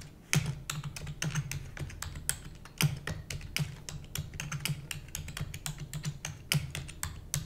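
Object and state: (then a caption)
Plastic computer keyboard being typed on. Rapid typing with long nails on a black plastic computer keyboard produces a steady, dense stream of sharp, bright clicks. Each keystroke carries a short low thud around 150 Hz and dies away almost at once, with a few louder accented strikes standing out.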